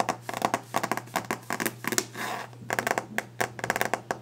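Long nails and fingertips tap fast and hard on the solid, glossy top of a varnished wooden desk. The sharp clicks come in quick, uneven bursts with a short soft scratch in the middle, each tap bright and dying away almost at once over a steady low hum.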